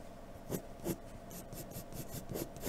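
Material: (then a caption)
Paper. A graphite pencil held in a blue extender draws across a large flat sheet of white drawing paper resting on a dark surface. Steady, soft scratchy strokes are heard throughout, with four louder, brighter strokes standing out over the continuous rasp.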